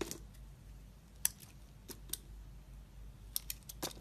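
A utility knife blade slices across the surface of a solid, translucent, clear red glycerin soap bar held in a hand. Short, sharp, bright clicks and crisp scraping snaps are heard, scattered over a quiet, low background hum.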